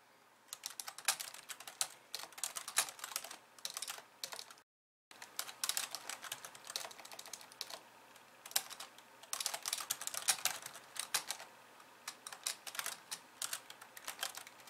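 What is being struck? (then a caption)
Plastic computer keyboard. Long polished nails type rapidly with both hands on the plastic keys of a compact pink and white keyboard resting on a wooden desk. Dense, bright, clicky clacks tumble out in uneven bursts, with a brief silent break just before the five-second mark. Each tap is sharp and dry, with almost no low end or ring.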